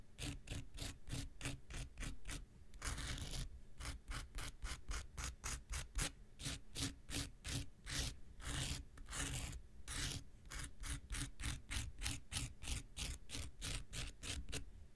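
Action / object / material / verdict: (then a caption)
scrape / foam nail buffer block with abrasive surface / foam / none. A handheld pink rectangular nail buffer block, solid foam with an abrasive surface, is rubbed and scraped with an X-Acto knife blade. Rapid, evenly spaced gritty strokes carry bright rasping noise over a low rumble, broken by two longer continuous scrapes.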